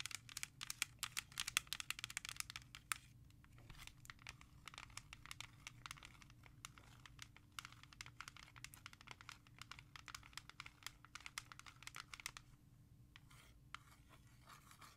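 A small, hollow, clear hard plastic CD jewel case with a disc inside, a Ja Rule CD, is held and tapped and traced with long nails. Rapid, bright, dry clicks and scratchy crinkling taps come in dense bursts over a faint low hum, busiest at the start, then thinning and quieter toward the end.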